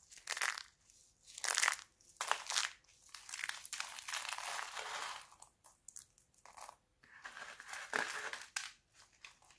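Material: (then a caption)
Soap. Thin, brittle red and green sheets of dried laundry soap are crushed in the hands, with fingers pressing into a pile of soap flakes. Bursts of crisp, bright crunching and crinkling come in irregular clusters with short pauses between them. Nothing is heard in the low end.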